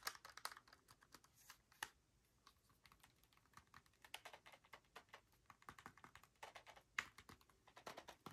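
Fingertips press and click the buttons of a plastic Nintendo Switch handheld console with blue and red Joy-Con controllers attached, held in both hands close up. A rapid, irregular stream of short, bright plastic clicks sounds like keyboard typing, with brief louder clusters around 0.4, 1.8 and 7 seconds. Each click dies away almost instantly, with very little low end.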